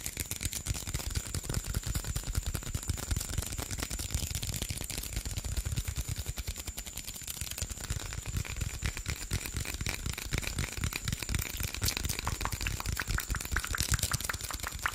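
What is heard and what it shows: A hollow green PET Sprite bottle of about 500 ml is squeezed and tapped with fingertips and nails close to the mic. Rapid, dense tapping and plastic crackling run steadily for the whole clip, mixing dull low thumps with bright, clicky ticks.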